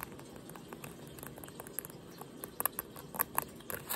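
Nails and fingertips scratch worn blue denim jeans around the button, fly and back pocket. A quiet, steady scratchy rustle is broken by irregular short, bright ticks and clicks. The sound grows louder and busier toward the end.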